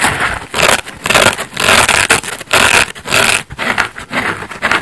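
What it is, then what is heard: Foam bath sponge being scratched. Fingernails scratch the yellow face of a layered foam bath sponge made of solid porous foam; the sponge is then turned and fingertips scratch along its yellow edge. Heard are dry, bright, rasping scratch bursts in an irregular rhythm, with short gaps between strokes and almost no low end.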